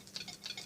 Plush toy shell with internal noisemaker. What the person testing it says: it still works, but it's kind of light